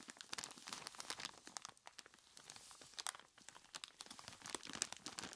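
A large clear plastic bag full of ice cubes is squeezed and rubbed by hands in skeleton-claw gloves. The result is a dense, quiet run of bright crinkles and crisp crunches with almost no low end, each sharp burst dying away instantly.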